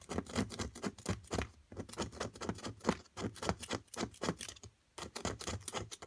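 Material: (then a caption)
Plaster. A metal carving pick scratches continuously at a small solid plaster chunk from an amethyst crystal excavation kit, the block held down with long nails. The sound is a quick series of dry, gritty scraping strokes, each short and crisp with a bright edge, coming in bursts with brief pauses between them.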